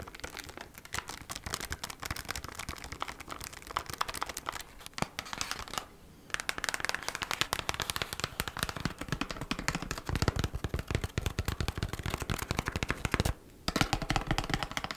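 Long black acrylic nails rapidly tap and scratch a thin, flat, hand-sized kraft cardboard sleeve of beeswax wrap packaging (Bee's Wrap). The result is a dense, fast stream of dry, crinkly clicks and scrapes with bright edges and some low thumps, broken by two brief pauses near 6 and 13 seconds.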